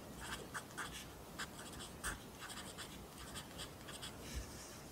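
A wooden pencil held in the fingers writes across the right-hand page of an open lined paper notebook on a desk, its graphite tip scratching over the paper. Quiet, dry scratchy strokes come in short bright bursts over a steady low background hum.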